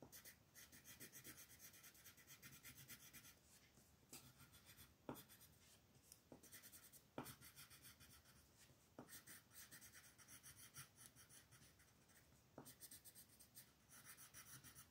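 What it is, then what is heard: Colored pencil scratching on a paper sheet. A green colored pencil, held in the fist, scratches and rubs in dense strokes across a thin white paper mandala coloring sheet lying flat on a table while the other hand holds the paper still. The result is a continuous, bright, papery rasp that swells and fades with each run of strokes, broken by a few sharp ticks as the pencil lands or changes direction.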